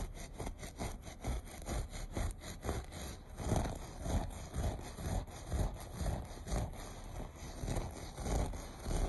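Short fingernails scratch across the loops of a beige looped carpet in repeated strokes, about two per second. Each stroke is a dull, rough rasp weighted toward the low end, with a faint steady high whine running underneath.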